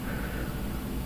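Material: Nothing is struck.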